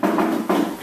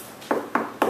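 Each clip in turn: First: Two taps on a desk's metal part, each ringing briefly with a mid-pitched metallic tone. Second: Three light mid-pitched taps with a brief, slightly hollow knock that dies fast: a plastic desk surface.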